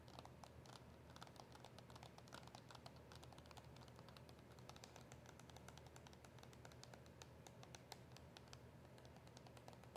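Long acrylic nails tap rapidly on a small, hollow cardboard box of press-on nails with a clear plastic window, with the nails inside. The steady, quiet stream of light, crisp clicks has bright, short transients over a soft, low hum, and each tap fades quickly.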